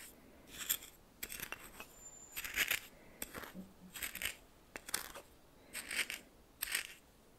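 A red plastic spoon stirs coarse white salt crystals against the side of a small hand-held bowl. The result is a series of short, bright, gritty crunching and scraping bursts separated by brief quiet gaps, with almost no low end.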